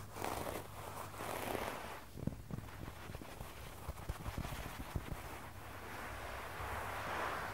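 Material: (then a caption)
Synthetic fibre. Bare fingertips and short nails from both hands scratch and tap across a flat, solid red low-pile synthetic carpet floor. Soft, brushy scratching swells in bursts, broken by a run of dull low taps in the middle, over a steady low hum.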